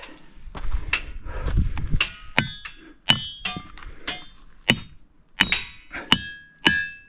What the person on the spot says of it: ring different tunes when you hit them with a hammer